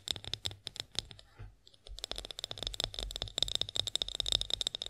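Long acrylic nails tap rapidly on a partly filled clear glass olive oil bottle with a black spout, held upright. Sharp, bright clicks with a high glassy ring come in quick bursts, with a brief pause near the middle before the tapping resumes, denser and faster.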